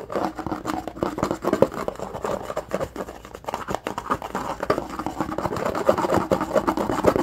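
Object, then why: Plastic food container lid. Fingertips and nails rapidly scratch and rub the textured surface of a flat, rectangular, lime-green plastic food storage container lid held in the hand. The result is a dense, continuous stream of dry, scratchy ticks and rasps centered in the midrange, with little low end, almost no bright top, and each stroke dying away instantly.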